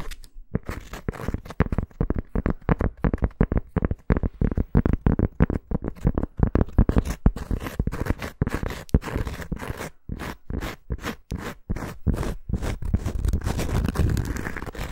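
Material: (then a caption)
Cork. Long nails scratch quickly across the surface and edge of a thin round cork coaster held up close. The result is a dense run of short, dry, crackly scraping strokes with a heavy low end and almost no ringing.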